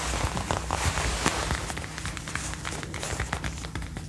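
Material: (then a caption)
Faux leather. Long dark-painted nails tap and scratch the upper arm and shoulder panel of a worn brown faux (PU) leather jacket made of soft, thin material. Quick, irregular soft taps mix with a bright, papery scratching rustle over a faint steady low hum, gradually easing slightly in level.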